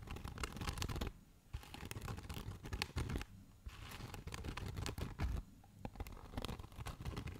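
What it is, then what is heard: Foam packaging insert. A rectangular black foam packaging insert with cutouts, held close to the microphone, is scratched and tapped with fingertips and nails. Dense, crackly scratching comes in bursts with a full, low-heavy body, broken by brief quieter pauses.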